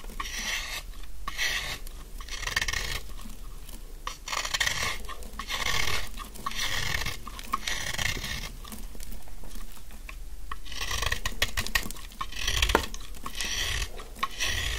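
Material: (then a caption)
Soap. A narrowed, solid, dry yellow bar of soap held in the hand is scraped with a utility knife blade, shaving off fine crumbs. Repeated crisp, raspy scraping strokes swell and fade in bursts, with bright crackling crunch over a soft low rumble.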